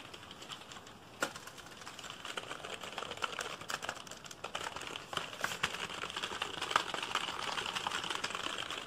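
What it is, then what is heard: Plastic computer keyboard being typed on. Fingertips type rapidly and aggressively on a black plastic computer keyboard that is held up and tilted. A dense, irregular stream of sharp, bright plastic key clicks and clatter continues throughout, each click dying away almost at once, with a few louder strikes standing out.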